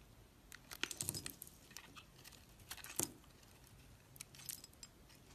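A utility knife blade shaves curling layers off a solid beige-brown bar of soap held in the hand. Quiet, bright, crisp scraping and crackling come in short bursts, with the strongest strokes near the start and the middle, over a faint low hiss in between.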